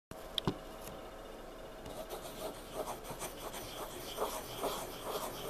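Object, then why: Graphite pencil on paper sketchbook page. A pencil's graphite tip is dragged across a page of a spiral-bound paper sketchbook lying flat on a table in dim light. Soft, dry scratching and rasping drawing strokes come in short repeated bursts over a steady faint hiss, with a few sharper taps near the start.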